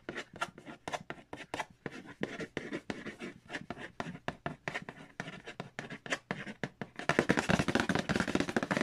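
Fingertips and nails tap and trace over the glossy printed lid of a large, flat, hollow cardboard Payday board game box. Quick, dry, irregular taps with a hollow papery knock and no ring carry through most of the clip. For the last couple of seconds they turn into louder, denser, brighter scratching.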